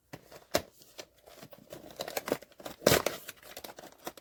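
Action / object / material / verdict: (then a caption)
shake / cardboard blind box with a vinyl figure inside / cardboard / none. A sealed POP MART Skullpanda The Sound cardboard blind box holding a vinyl figure is shaken, giving a run of light rattling knocks and papery shuffles with sharper jolts near 0.5 and 2.9 seconds. The box is confirmed to contain the Serenity figure.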